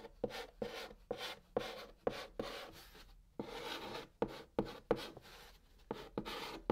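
A white chalk stick held in the fingertips writes Korean letters on the hollow top of a large, flat brown cardboard box, scratching the surface. Each stroke starts with a sharp, gritty tick and trails into a dry, bright rasp with a faint mid-pitched body. Short pauses separate the strokes, and the overall level is quiet and close.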